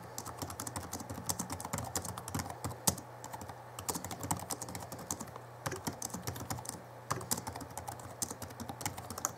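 Fingertips of both hands type quickly on the backlit plastic keys of a small Alienware M11x2 (2011) laptop keyboard. The keys make a dense run of short, dry clicks and taps with bright edges and almost no ring, over a steady low hum. Brief lulls come near the middle and around seven seconds.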